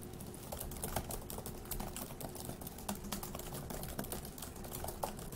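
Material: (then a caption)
Plastic. Fingertips of both hands type fast on the plastic keys of a dark grey laptop keyboard. A dense, steady stream of short, crisp clicks and taps continues throughout, with a few slightly louder key strikes over a faint, constant low hum.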